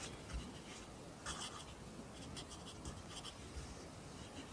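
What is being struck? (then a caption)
Graphite pencil on a paper notebook page. A wooden pencil held in the fingers writes and rubs on the page of an open lined paper notebook resting on a desk, its graphite tip scratching across the paper. Quiet, dry scratching strokes come in irregular bursts with bright, papery texture over a soft low rumble.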